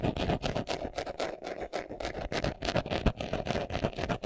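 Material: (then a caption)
Leather. Fingernails scratch quickly across the surface of a small, hollow, brown pebbled leather glasses case held in the hands. Rapid, uneven bursts of dry, papery scraping come about three or four times a second, each with a low hollow thump beneath a bright rasp.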